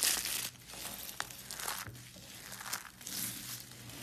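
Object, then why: Thin carved soap shavings. A pile of thin, dried blue and pink carved soap curls, solid and brittle, is crushed and crumbled between the fingertips of both hands. It makes a bright, crisp crinkling crunch that comes in uneven bursts, loudest at the start and swelling again near the end. Faint low hum sits underneath.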